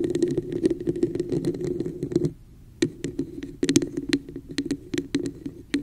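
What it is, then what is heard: Plastic cup tapped and scratched with nails. Long nails of both hands scratch and tap the sides of a hollow red textured plastic cup placed over the microphone. Rapid clicky taps and scratchy rustles carry a hollow resonance around 290 Hz with bright, crisp edges. The sound pauses briefly partway through, then resumes.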